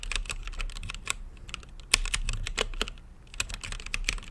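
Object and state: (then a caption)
Mechanical keyboard with plastic keycaps. Fingertips type on a mechanical keyboard with plastic keycaps and a translucent lit case. Quick, bright clacks follow one another in a steady, uneven rhythm, each dying away almost instantly over a soft low rumble, with a few louder strikes standing out.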